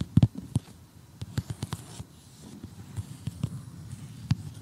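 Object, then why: Cardboard jigsaw puzzle. A large assembled cardboard jigsaw puzzle showing a house and a tree lies flat and is tapped with short glittery fingernails, then poked with tweezers. The result is a run of short, dry, low taps with almost no ring, scattered unevenly across the clip over a faint background hiss.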